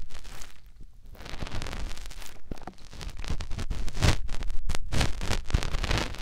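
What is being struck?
Silicone microphone ear rubbed by a fingertip.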